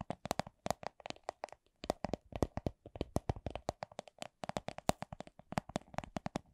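Long acrylic nails tap a small, hollow, transparent plastic coin purse printed with a bunny design. About 38 quick, separate taps come at a slow-to-medium, uneven pace. Each is a short, dry, hollow plastic click centered around 670 Hz that dies away almost instantly.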